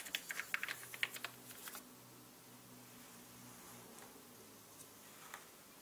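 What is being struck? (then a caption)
Mechanical computer keyboard with plastic keycaps. A small orange-bristled paintbrush brushes across the hollow plastic keycaps of a black mechanical computer keyboard, making about nine quick, bright clicking taps and scratchy rustles in the first two seconds. Then it goes quiet, leaving a low steady hum and hiss with a couple of faint ticks near the end.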